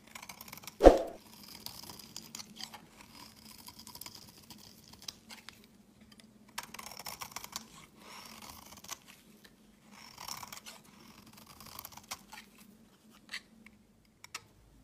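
A solid, pale green rectangular olive oil soap bar has its edge shaved with a utility knife blade, peeling off chunky curls. A sharp crack opens the clip, followed by quiet, dry scraping and crunching strokes over a low steady hum.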